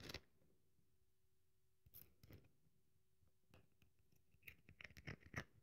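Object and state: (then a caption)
Dry bar of soap. A solid, dry bar of soap is held in the hands while long nails scrape and crumble its edges. Short, crisp scratching crunches come in scattered bursts with quiet pauses between them, then a quick cluster of sharper, bright crackles near the end. Each crunch stops almost at once.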